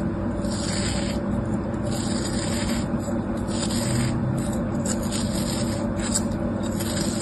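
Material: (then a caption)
Kinetic sand. A utility knife blade slices and scrapes through a solid, molded crab shape of beige kinetic sand held on the palm. The result is a steady, continuous gritty scraping and crunching, weighted toward the low end with a faint tonal hum, and brief bright hissy bursts come and go throughout.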